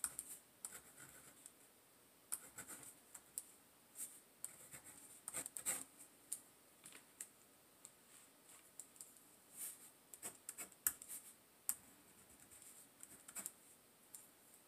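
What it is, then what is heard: Pen writing on a paper notebook page. A pink pen held in the fingers writes cursive letters across the blank page of a large open paper notebook lying flat on a table. The pen tip makes quiet, bright, scratchy strokes in irregular short bursts with brief pauses between words, with almost no low end.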